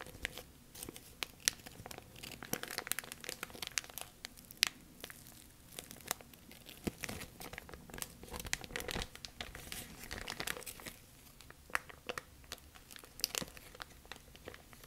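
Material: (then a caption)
Plastic. A large, thin, clear, empty plastic bag is held open and crinkled with fingertips and long nails. Dense, bright crinkling and crackling runs steadily throughout, with many sharp, high snaps and little low end.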